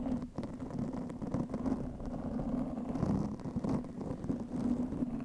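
Long nails on both hands scratch the black foam windscreen of a studio microphone. The result is a continuous, muffled, rumbling rustle with a steady low hum near 200 Hz and almost nothing bright. The scratching rises and falls in level without clear breaks.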